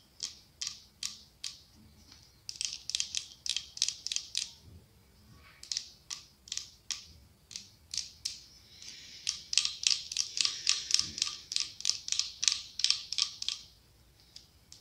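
Long acrylic nails tap and scratch the side of a medium cylindrical glass candle holder decorated with autumn leaves, with a candle inside. Quick, bright, sharp clicks die away almost instantly and come at an uneven pace. They thicken into denser scratchy runs near the start and again in the second half.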